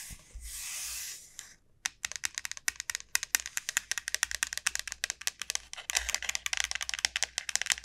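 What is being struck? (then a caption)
Dried bottle gourd shell. Long nails scratch along the textured shell of a large, hollow dried bottle gourd lying on a mat, making a soft hiss for about a second and a half. Then comes a fast, uneven run of dry, bright clicking taps that dies away almost instantly, with a brief denser scratchy patch near the sixth second.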